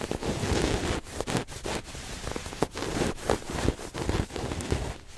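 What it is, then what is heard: Fabric throw pillow. A red fabric throw pillow with a white zigzag pattern, soft and stuffed, is held against the chest and scratched and rubbed across its cloth surface with fingertips and nails. The result is a steady, dense, broadband scratching hiss weighted toward the low end, broken by brief pauses and short bursts as the strokes change.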